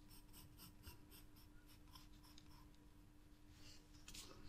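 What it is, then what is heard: Pencil drawing on a sketchbook page. A green wooden graphite pencil draws and shades on white drawing paper in a spiral sketchbook, with a loose sheet lying nearby. Quiet, repeated bright scratching strokes sweep across the page over a steady low hum, ending in a slightly louder burst of scratching.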